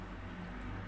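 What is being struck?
Nothing is struck.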